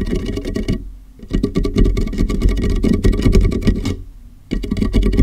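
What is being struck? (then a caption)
Large plastic water jug. Fingertips of both hands tap the sides and base of a large, empty, hollow clear plastic water jug with a molded handle, set upside down over a microphone. The result is a rapid, dense patter of boomy, low, hollow thuds with short resonance. It eases into brief quieter dips around one second and again near four seconds before resuming.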